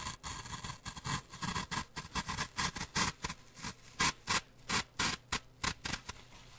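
Thin wooden toothpicks are pushed into and scraped across the surface of a brick-sized, grey, solid and porous floral foam block held in one hand close to the mic. A rapid series of short, crisp, bright scratchy crunches sounds, each dying away almost at once, with a faint low rumble underneath.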